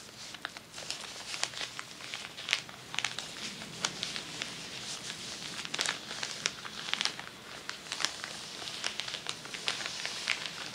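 Long nails scratch across a large crinkled sheet of tissue paper lying flat on a table, making dense, bright crinkling and scratching. Sharp little crackles and clicks pop out of a steady papery hiss, with almost nothing in the low end.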